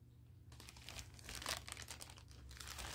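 A large, soft, full package of Confidry 24/7 adult diapers in thin orange, green and white printed plastic film is held up, then laid on a carpet while fingertips and nails rub, squeeze and pick at its top seam. After a brief quiet start, a steady run of bright, dense crinkling and crackling plays over a faint low hum, peaking around the middle.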